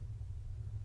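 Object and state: Nothing is struck.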